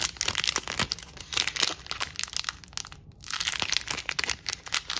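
A small, hand-sized ball of peeled purple and silver metallic vinyl sticker film, loosely crumpled, soft and hollow, is squeezed and crushed between the fingertips of one hand in front of a wall. It gives dense, bright crinkling and crunching crackles in quick bursts, with a short near-silent pause about three seconds in before the crinkling resumes.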